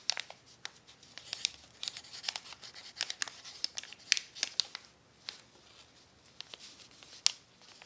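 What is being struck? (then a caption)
Crumpled paper sheet and pencil. An orange wooden pencil tip writes across a crumpled brown paper sheet resting on a plaid tablecloth, while a hand with long nails holds the sheet flat. The sound is a quiet, irregular run of dry, bright crinkles and sharp scratchy ticks, with almost no low end and no ringing after each stroke.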